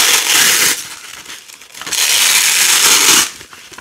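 Orange and yellow nylon hook-and-loop strips of thin, flexible fabric, stuck together and held in fingers with long decorated nails, are peeled apart in two long rips. Each rip is a bright, crackling tearing sound with a quieter gap between them.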